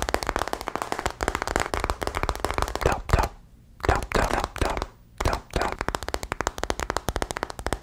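A solid smartphone with a glass and metal body, held sideways in both hands, is tapped on its back and edges with fingertips and nails. Rapid, dense runs of crisp clicking taps with a low thud underneath continue steadily, broken only by two brief pauses.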